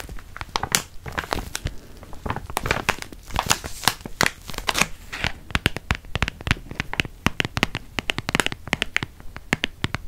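A full, yellow, crinkly plastic wrapper around a stack of cookies is held in both hands and crinkled and scratched with fingertips and nails. Dense, sharp crackling and rustling bursts follow one another quickly for about ten seconds, with bright high-frequency snaps over a softer rustle.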